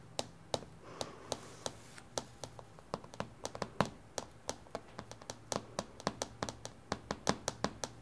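Long painted fingernails tap quickly on a flat, reflective glass tabletop with both hands, in a typing-like rhythm. Each tap is a sharp, bright click that dies away almost instantly, forming a rapid, uneven series over a faint low hum.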